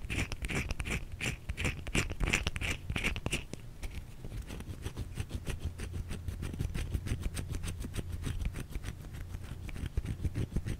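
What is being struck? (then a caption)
Bar of soap. A white solid bar of soap held in the hands is scratched with long nails, giving a quick run of dry, crisp scratches and clicks over a soft low rumble. For the first few seconds the strokes carry a brighter rasp, then settle into steady, closely spaced scratching that continues to the end.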